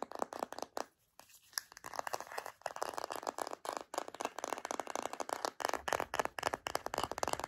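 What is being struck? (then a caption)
Plastic deodorant stick container. Long nails tap and scratch a hollow white plastic deodorant stick container with a paper label. The clip is a rapid, dry run of many short clicks and scratchy scrapes, mostly in the midrange. There is a brief near-silent pause around the one-second mark before the tapping resumes steadily.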